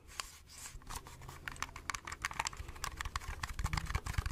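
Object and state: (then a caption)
Plastic compact camera tapped with fingernails. A small, hollow plastic-and-metal Agfa pocket compact film camera, held close to the microphone, is tapped with long red-painted nails. The result is a quick, uneven run of sharp, dry clicks that gather pace, each with a bright edge, a low hollow knock beneath it and almost no ring.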